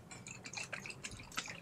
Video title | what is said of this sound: Midweek Vid 4: MASON JAR ICE CREAM 🍦 Boat Recipe, DIY, Simple Dessert Recipe | you can hear liquid sloshing